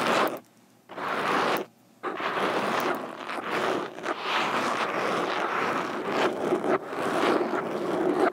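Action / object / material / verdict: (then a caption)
scrape / foam microphone windscreen tapped with metal fingerpicks / foam / none. Metal fingerpicks on both hands tap and scratch the surface of a black foam microphone windscreen. The result is a dense, crackling, rustling scrape centered in the mids. Two brief silent pauses come early on, then the scratching continues steadily.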